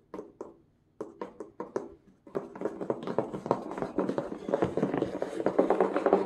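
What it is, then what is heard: Cardboard shipping box. A medium, sealed and taped Amazon corrugated cardboard box, hollow inside, is tapped with the hard black plastic claw tips of plush costume gloves. A handful of separate, dry, hollow taps give way to fast, continuous drumming on the box. The knocks are short and mid-pitched with a brief papery rattle.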